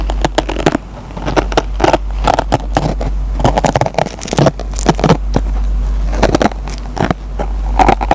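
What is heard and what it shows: A metal pen tip scratches and picks at the fibers of a dry kitchen sponge with a green nylon scouring pad. Dense bursts of short, crackly scrapes and plucks come and go over a steady low rumble, with most of the energy low and little brightness.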